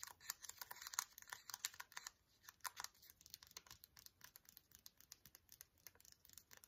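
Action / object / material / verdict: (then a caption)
tap / small foil sachet / foil / none. A small, flat, sealed green ASDA antiseptic wipe foil sachet, still full, is tapped and scratched with fingernails. It makes a quiet, irregular run of short, bright, crinkly clicks and scratchy rasps with almost no low end. Each tap dies away almost instantly.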